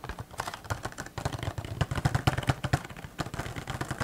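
A small green cardboard toy box with a clear plastic window and a figure inside is tapped with fingertips and nails close to the microphone. An irregular, quick run of short, dry taps follows, with soft low thuds from the fingertips mixed with brighter clicks from the nails, and no ring after each hit.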